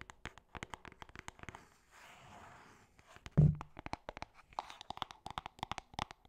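Long painted nails tap and scratch a small, hollow cream cardboard gift box with a printed logo. Quick, light, crisp taps run throughout, broken by a soft scratching stretch and one louder, deeper thump before the tapping resumes.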